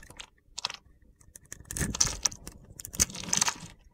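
A box-cutter blade cuts gritty little cubes off a solid, palm-sized light blue soap bar held in the hand. Dry, crunchy scraping and crackling bursts with sharp high-pitched clicks come in uneven clusters.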